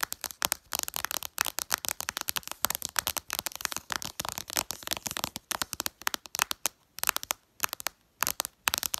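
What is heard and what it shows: Long purple nails tap fast and hard on the glass screen of a flat smartphone displaying icons. The result is a rapid, uneven stream of sharp, bright, dry clicks with almost no low end, each cutting off instantly with no ring, and brief pauses between bursts.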